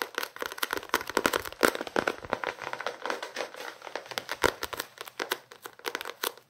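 Fingertips and nails scratch and tap on the card cover and page edges of a small paperback novel. Quick, dry papery taps and crinkly scratches come in an uneven, rapid run with almost no low end. Each tap dies away almost instantly.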